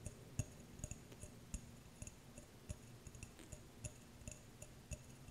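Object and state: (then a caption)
Empty glass jar tapped with nails. Long nails tap and scratch a small, clear, empty glass jar without a lid. The sound is a quiet, irregular series of sharp ticks and clinks with bright glassy highlights and very short decay, broken up by faint scraping in between.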